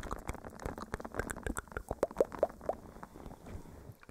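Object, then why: Silicone face scrubber pad. A small, flat blue silicone face scrubber sponge with bristles is held against a furry microphone windscreen and scratched with the fingernails of both hands. The result is a quick, muffled stream of soft scratchy, squishy crackles, with a few brief squeaky chirps near the middle.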